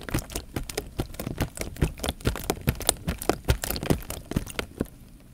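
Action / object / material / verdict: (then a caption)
scrape / plastic bag filled with water / plastic film / none. Fingertips press and rub the film of a clear plastic bag full of water held horizontally. A rapid, uneven series of crisp crinkles and crackles rides over soft, low, watery thumps. The sound thins out and falls quiet near the end.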